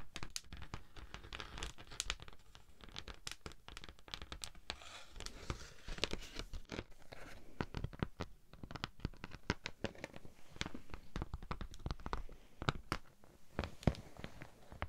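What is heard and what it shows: Long nails scratch a thin pink honeycomb-textured beeswax sheet, first held flat and then raised in front of the face. The result is a dense, steady run of quick crackling scratches and sharp ticks, with bright crisp edges over a soft low rustle.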